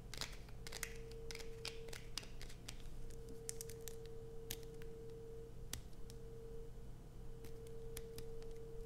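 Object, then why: Bar of soap. Long acrylic nails scratch a solid blue bar of soap held in the hands, making quick, dry, bright scratches and clicks in a steady rapid rhythm. A low hum and a faint steady tone sit underneath the quiet scratching throughout.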